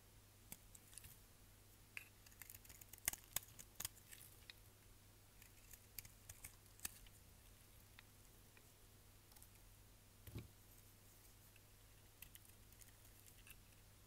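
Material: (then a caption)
Soap. A partly carved solid red striped soap bar, held in the hand, is shaved with a utility knife blade, producing quiet, crisp, bright scraping clicks scattered across the clip. The clicks cluster most thickly in the first few seconds and recur sparsely afterward over a steady low hum.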